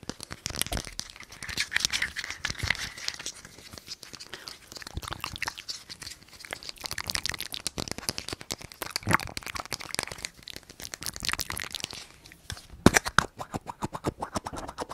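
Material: Plastic.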